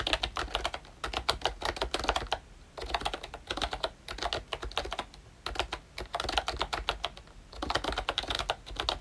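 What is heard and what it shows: Fingertips type continuously on a pink and brown plastic ROYCHE Disney Mickey Mouse retro membrane keyboard. They produce quick, soft, bright clicks in rapid runs separated by brief pauses. Each keystroke dies away almost instantly, with a light low thump beneath the clatter.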